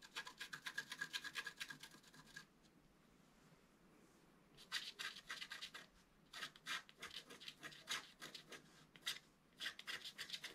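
A wooden stylus scratches the black coating of a flat scratch art card (black coated paper) held with one hand. Rapid, bright, dry scratching strokes come in quick bursts, stop for a quiet pause of about two seconds, then resume in short rhythmic runs.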